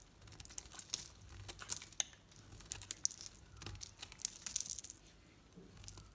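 A knife blade shaves thin curls from a solid green Dalan soap bar painted pink and held in the hand. The cutting produces a rapid series of dry, bright, crinkly scrapes and clicks with no ring, over a faint low background hum.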